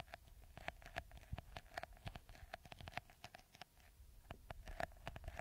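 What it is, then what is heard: Plastic bottle with beaded top. Fingertips and nails scratch and tap the small green textured beads covering the top of a clear, hollow, hand-sized plastic bottle held upside down. The result is a quick, uneven run of short, dry clicks and taps, each with a faint hollow tone near 720 Hz over a soft scratchy bed, and every tap dies away almost at once.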